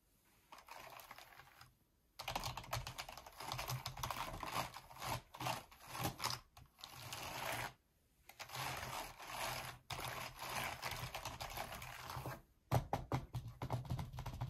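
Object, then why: Plastic membrane computer keyboard. Gloved fingertips press and tap the keys of a black plastic Razer membrane keyboard with all keycaps on and a hollow body, lying on a grey surface, in a repeated typing motion. Rapid, dense clattering keystrokes come in long bursts separated by brief silent pauses, with a hollow low thump under bright plastic clicks.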